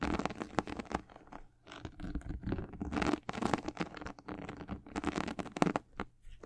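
Long nails scratch across the white leather and glossy patent leather upper of a high-top sneaker. The result is a dense run of soft, crackly scratching strokes, mostly in the low and middle range with little high sizzle, swelling and fading in short bursts.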